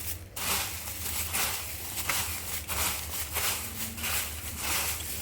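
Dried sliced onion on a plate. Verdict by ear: Dry.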